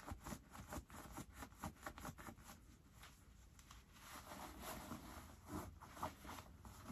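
Fingertips tuck the pulled-out white pocket linings back into both pockets of light-wash ripped cotton denim jeans, rubbing the fabric. Quiet, irregular cloth rustles and soft scratchy brushes come in short bursts, busier at the start, then settle into a steadier rubbing hiss before a few final brushes.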